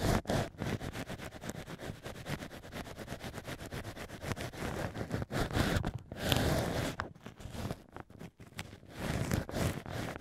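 Black ear picks scratch inside the drilled holes of a mock ear made from pieces of solid cork wine stopper. Close, rapid, uneven scraping and rustling runs throughout, heavy in the low end with a few brief pauses and louder bursts near the middle and end.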